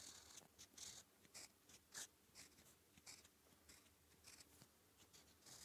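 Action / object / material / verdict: scrape / metal fountain pen nib on thin paper / paper / none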